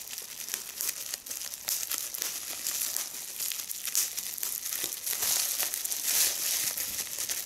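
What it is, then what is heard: Plastic bubble wrap. A small piece of clear plastic bubble wrap is held between the fingers while long red nails pinch and pop individual bubbles and crinkle the film. Dense, bright crinkling runs throughout, with many sharp pops and snaps over about seven seconds.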